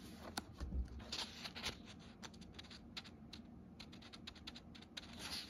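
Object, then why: Paper book pages. A page of an open paper book is lifted and turned by hand, and fingertips rub across the printed paper. Soft, irregular, bright rustles and scratchy crackles come in quick bursts over a quiet low rumble, with a louder page flip near the start.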